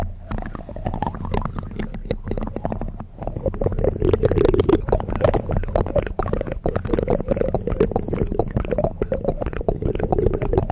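Fingertips and nails of both hands scratch and tap the bare mesh metal grille of a large hollow condenser microphone. A continuous, dense crackle of scratching rides over a heavy low rumble, with a hollow resonant tone that swells in the middle. Quick taps break through as short, sharp clicks.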